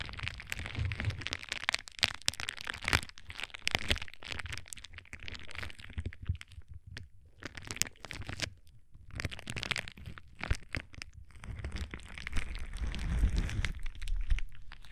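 A sheet of clear plastic bubble wrap is held against a microphone and crinkled and rubbed with fingertips. It makes dense, rapid crackling and crunching with bright crinkles, over deep, close rumbling thumps from the plastic pressing on the mic. The noise comes in bursts separated by brief quiet gaps and swells louder toward the end.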